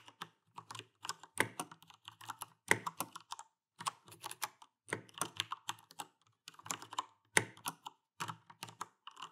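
Fingertips and nails type and tap on a backlit Alienware AW410K mechanical keyboard with Cherry MX Brown switches and plastic keycaps. Quick, dry clacks come in uneven bursts and pauses, each with a bright click and a short, thin thud under it that stops almost at once.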